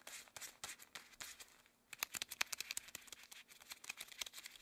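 Long cream rubber gloves are worn on both hands as the fingers flex, interlace and rub together. The rubber gives off quiet, bright crinkling with short, sharp squeaks. After a brief lull partway through, it grows denser and louder.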